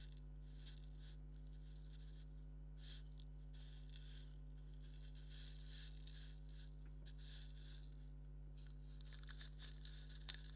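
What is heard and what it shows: Fingernails scratch and rub a hand-held black stitched leather maraca with a wooden handle, hollow and filled with grains. The result is quiet, dry, bright scratching and rustling that comes in bursts over a steady low hum, with a few sharper ticks near the end.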